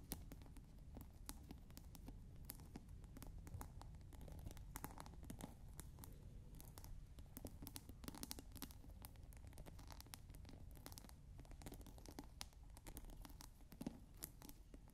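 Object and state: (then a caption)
Plastic scent pod on glass water bottle. Long nails scratch the ridged top of a clear plastic scent pod cap on a clear glass bottle partly filled with water. The result is a quiet, continuous stream of fast, crackly scratches and tiny clicks, with bright edges over a soft low rumble.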